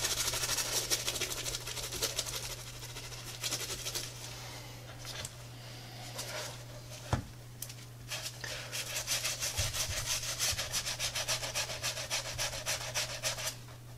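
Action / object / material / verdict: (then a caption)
scrape / textile and rubber sneaker / textile, rubber / none. A wet brush scrubs through foam on the heel and midsole of a tie-dye Adidas textile and rubber sneaker, held in gloved hands over a granite counter. Quick, bright, rasping bristle strokes repeat at a fast, uneven pace over a steady low hum. They ease off in the middle, where a single sharp tap sounds, then return at full intensity.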